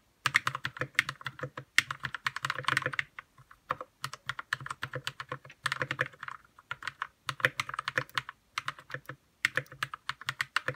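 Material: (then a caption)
Plastic. Fingertips type on a white 60% RK61 mechanical keyboard with plastic keycaps and lubed red switches. Quick, crisp keystroke clacks come in rapid bursts separated by short pauses, each click brief and dry with a bright tone centred near 1.8 kHz and a soft low thock beneath.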